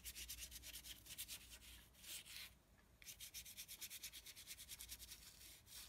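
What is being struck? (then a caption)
Bristle brush on heavy painting paper. A small flat brush with a yellow handle is scrubbed back and forth across a flat sheet of thick, heavy painting paper on a table, dry-brushing dark paint over a pink area. Rapid, bright, scratchy strokes run in quick bursts, pause briefly near the middle, then resume at a steadier, faster rhythm.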